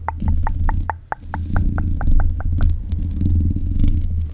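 Long nails scratch and tap the hollow mesh grille of a black metal desk microphone. A steady run of quick, evenly spaced taps with a short bright ring sits over a loud, low, rumbling scrape. The tapping fades out after about two and a half seconds, leaving the grinding scratch.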